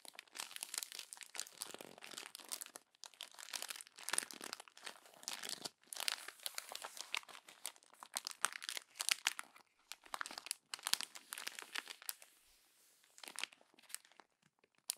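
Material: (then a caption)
Paper. Hands crumple a page of a glossy paper magazine and press it against the bunched pages. Dense, bright crinkling and crackling come in bursts separated by short pauses, with almost no low end, and each burst stops dead.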